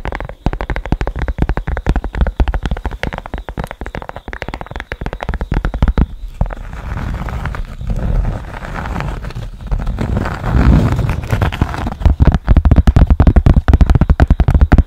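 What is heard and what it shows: A thin, flat, hand-sized cork board with a small yellow square on it is held close to the microphone and scratched with long nails. Rapid, dense scratching and tapping runs throughout, with a deep, muffled low end and almost nothing high. Midway the strokes blur into a softer, rumbling rub before returning to quick, crisp scratches.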